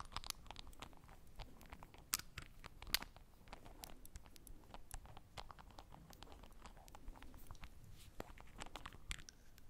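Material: Glass, plastic.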